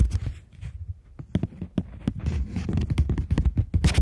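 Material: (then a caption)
Plastic. A polymer plastic £20 banknote is scratched and tapped with long nails while held flat and bent. Dry, crisp scratches and quick ticking taps follow one another over a low, muffled rumble, growing busier and brighter toward the end. Each sound dies away almost at once.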